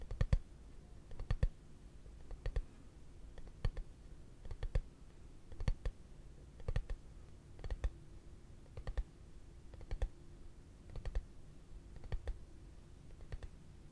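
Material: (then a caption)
Plastic. A hollow, translucent frosted plastic case held upright is tapped with fingertips and short nails in slow, unhurried bursts about a second apart. Each burst is a quick cluster of dry, hollow clicks with a soft low thump and a bright edge, dying away almost instantly over a faint steady background hum.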